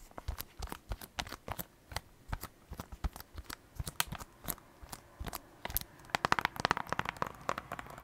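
A plastic Nintendo Switch game case for Animal Crossing, held in both hands, is tapped and scratched with long black acrylic nails. The result is a steady run of quick, dry clicks and crisp scratchy ticks with no ring. The taps grow louder and brighter toward the end.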